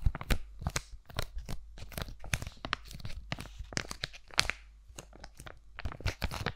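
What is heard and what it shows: A sealed Jigott Aloe sheet mask packet, a flat laminated plastic-and-foil pouch holding a thin mask, is held in both hands and tapped, scratched and crinkled with long nails. The result is a rapid run of sharp, bright crackles and clicky taps with quick, dry decays over a steady low hum.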